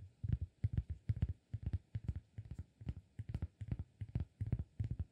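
Fingertips of the right hand tap and scratch the surface of a round, flat, solid cork disk held in the left hand. The result is a quiet, uneven run of soft, dull, low thumps in quick clusters, with faint brief ticks on top and no ring after each tap.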